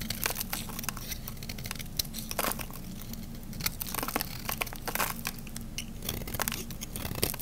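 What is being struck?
Bar of soap scraped with a metal blade.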